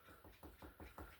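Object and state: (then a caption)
Solid brick wall. Knuckle-style knocks on a brick wall, the recommended kind of wall for hanging master clocks, give a series of short, dull, low thuds with little ring. The wall sounds solid rather than hollow like plasterboard.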